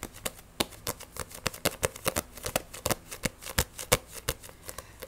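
Fingernails rapidly tap and scratch the glossy cover of a Black Butler volume 1 paperback manga. The result is a fast, irregular run of sharp, dry clicks that reach bright highs and die away almost instantly, with faint scratchy rustling between them.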